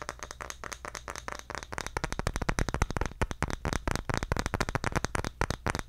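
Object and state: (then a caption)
Round bamboo lid. A solid, palm-sized round bamboo lid is held in both hands and tapped with fingertips and nails. It gives a rapid, uneven stream of short, dry clicks and knocks that stop almost instantly, over a steady low hum.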